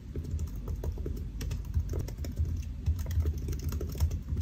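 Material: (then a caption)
Plastic. Fingertips of both hands type quickly on the black plastic keys of a solid silver aluminium laptop resting on a white desk. The result is a dense, continuous stream of soft, muffled key taps with low thuddy weight and very short decay, with some strokes landing slightly louder than the rest.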